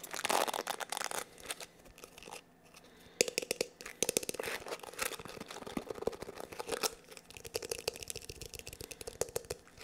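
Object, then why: Plastic hair brush. A small black plastic paddle/cushion hair brush with dense plastic bristles is held in both hands while fingertips rub and scratch across the bristles and the brush back. This makes a quiet, dry, crackling scratch of rapid clicks with a bright, hissy edge. It eases off briefly near the middle, then picks back up and continues steadily to the end.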